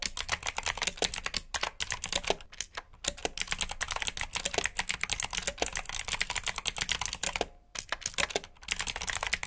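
Fingertips type steadily on a black plastic backlit mechanical keyboard with blue switches, producing fast, crisp, bright clicks that stop dead between strokes. A couple of short pauses break the otherwise continuous typing.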